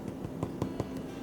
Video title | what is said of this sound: January Bake Along for the Tillamook County Library | it kind of sounds like a knocking on the door which means we are good to go